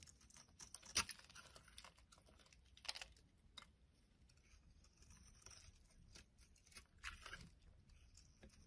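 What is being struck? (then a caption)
Bar of soap. A metal utility blade scrapes a solid oval purple Lux soap bar held in the hand, sending crumbly flakes falling. The sound is quiet, bright, dry scratching and crackling, with sharper scrapes standing out around the first, third and seventh seconds.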